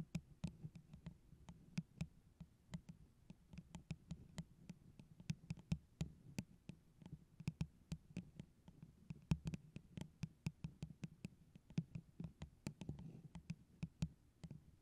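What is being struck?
Hollow plastic tumbler tapped with fingernails.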